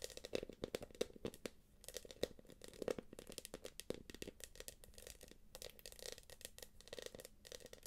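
Long acrylic nails scratch and tap the quilted surface of a small light-blue quilted PVC jelly purse. Quick, sharp clicking taps mix with crinkly, dry scratching that carries a bright edge. Together they make a soft, busy run of short plastic sounds with almost no ring.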